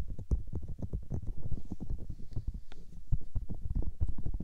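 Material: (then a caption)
Silicone. Long-nailed fingertips and palms rub, cup and press the soft, hollow white silicone ears of a 3Dio binaural microphone. The result is a dense stream of muffled, deep thumps and rubbing bumps, almost entirely low in pitch with no bright content. Each contact is short and dry, with no ring.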